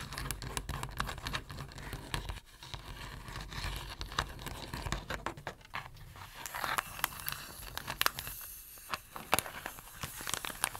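Fingertips and nails scratch and rub along the rim and surface of a round, plate-sized blue plastic tray holding a printed photo insert under a clear plastic cover. The result is a steady stream of dry, crinkly scratching and crackling with many quick, bright ticks, over a low rumble that drops away after about two and a half seconds.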